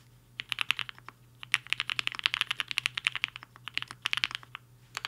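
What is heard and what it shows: Fingertips of both hands type on a black-cased HI-FINGER 7.5 75% mechanical keyboard with white and pink plastic keycaps and a hollow case, resting on a desk mat. Quick bursts of bright, crisp, clacky keystrokes cut off almost instantly, with brief pauses just after the first second and near the end. A faint low steady hum sits underneath.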